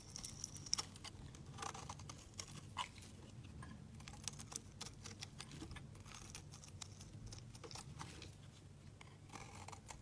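A utility knife slices pieces off a solid white soap bar held in the fingers. Quiet, crisp scraping and cutting clicks with bright edges repeat steadily over a soft low rumble throughout.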